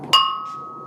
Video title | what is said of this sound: Bol prénom personnalisé de la Faïencerie de Pornic pour Osez Sophie de Ré | un petit test de résonance pour détecter les fissures faut bien écouter quand ça résonne bien comme ça